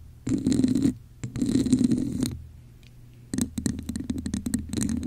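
Long acrylic nails scratch the ridged surface of a hollow red textured plastic cup held over the mic, in two muffled, hollow scraping passages. After a short pause, the nails tap the cup's base in a quick run of dull, low-pitched knocks.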